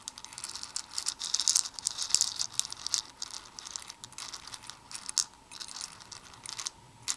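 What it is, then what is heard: Plastic fuse beads stirred in a plastic bowl. A black plastic tweezer pokes and stirs many small hollow plastic Perler beads in white, red and black inside a red plastic bowl. The beads rattle against each other and the bowl in dense, bright, clicky bursts with almost no low end. Each tick dies away instantly, and the rattling swells and fades through the clip.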